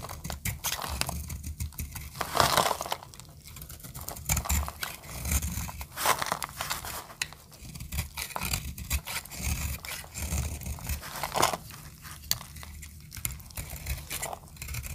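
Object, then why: Bar of soap cut with a metal blade. A solid orange oval bar of dry soap held in the hand is carved with a metal utility blade, shaving off crunchy flakes. Bright, dry crackling scrapes and crunches repeat steadily over a low rumble, with brief sharper crunches standing out.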